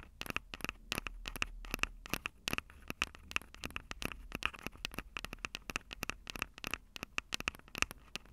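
Long acrylic nails rapidly tap and scratch the mic capsules of a Tascam DR-05 handheld recorder, which has a plastic body and metal mic grilles. The result is a dense run of sharp, bright clicks and scratchy scrapes that stop almost instantly, with a recurring tone near 2.6 kHz over a faint low hum.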